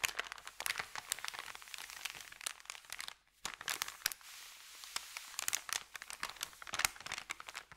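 A flat, thin, empty white paper sandwich bag lying on carpet is pressed and rubbed by the fingertips of both hands, crinkling. Dense, bright crackles and crunches come in rapid bursts, with a brief silence near the middle followed by a softer, steady rustle before the sharp crinkling returns. The sound has almost no low end.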